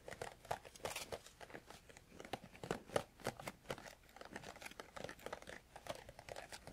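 A small, hollow, rectangular printed cardboard herbal tea sampler box is held in one hand and tapped with fingertips and nails on its sides and front. The result is a rapid, uneven stream of dry, crinkly taps with a light hollow tone, each dying away almost instantly.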